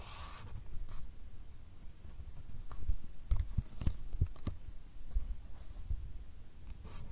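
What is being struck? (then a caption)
Marker pen on a small stack of paper cards. A marker pen scratches and draws lines across the top sheet of a small stack of white paper cards held by hand. The result is quiet, dry scratching and rubbing, broken by brief sharper strokes and soft taps throughout, with little ring after each stroke.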